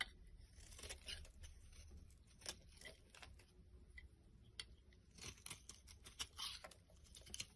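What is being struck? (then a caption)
Bar of soap shaved with a metal blade. A metal blade shaves curls from a solid rectangular yellow bar of soap held in the hand. Quiet, crisp scraping and crackling strokes repeat unevenly, bright and papery, over a faint low rumble. Each stroke ends almost instantly with no ring.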